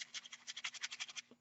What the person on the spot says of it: you can hear it it is shaking ... it is moving